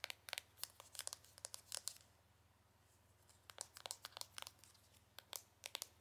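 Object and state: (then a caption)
Cardboard box tapped with nails. Long acrylic nails tap and scratch the front and back of a small, hollow, printed cardboard cosmetic box. Quiet, crisp clicks and dry scratchy crinkles, almost all high-pitched, come in two busy bursts separated by a short pause. Each one cuts off almost instantly over a faint low hum.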